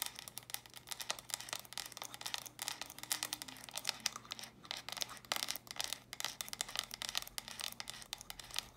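Long nails tap and scratch quickly on the flat sides of small, hollow, stacked plastic brick storage boxes held in both hands. The result is a dense run of crisp, bright clicks and scratchy rasps with almost no low end. Each tap dies away almost instantly.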